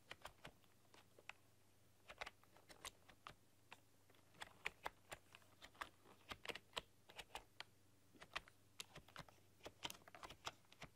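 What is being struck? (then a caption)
Plastic computer keyboard. Long, dark-polished nails and fingertips type on a full-size plastic computer keyboard with black keycaps and a rainbow RGB backlight, pressing and clicking the keys. Quick, bright, short clicks come in irregular bursts and pauses at a soft level, over a faint, steady low hum.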